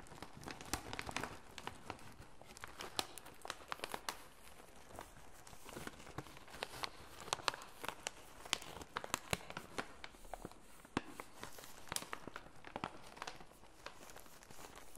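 Gloved fingers rub and squeeze the surface of a full red MAKADO snack bag made of plastic and foil laminate, held up in the hands. Dense, bright crinkling and crackling continues for the whole clip, with sharp louder snaps scattered through it. The overall level stays quiet.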